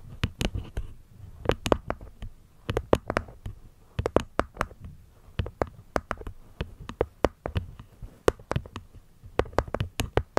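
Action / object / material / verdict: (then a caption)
tap / small hexagonal wooden box with cork lid / wood, cork / none. Long nails tap the cork lid and wooden edges of a small, hollow, hexagonal light-wood box with a cork top panel. The result is a rapid, uneven series of short, dry taps, each with a brief hollow knock around 520 Hz and a soft low thump, dying away almost instantly.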